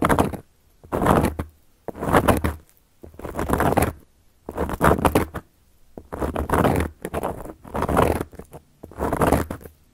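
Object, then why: Round flat cork coaster scratched with long metal-tipped nails. Long gold metal claw nails scratch across a round, flat, solid cork coaster in repeated strokes. Each stroke is a dry, gritty rasp with a soft low thud, separated by short silences.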